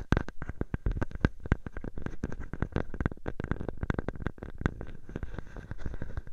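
A clear plastic bubble wrap sheet draped over a microphone is squeezed and scratched at its edges by fingertips and nails. It makes a dense, continuous run of sharp crackles and soft pops with close, heavy low-end thumps and brief bright ticks. The sound stays at a steady, close-up level throughout.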